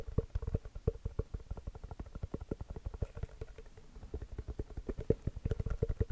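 A full-size inflated orange basketball with a pebbled composite leather cover is held in one hand and tapped and scratched with the fingertips and short nails of the other. Quick, dull, low thumps come in a steady, rapid stream, each with a faint hollow ring around 450 Hz that dies away almost at once.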